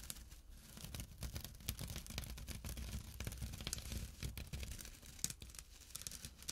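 Short nails scratch the coarse fabric of a small, empty jute/burlap drawstring pouch lying on dark cloth. The result is a steady, dense rasping with rapid, bright crackly bursts over a soft, low rumble.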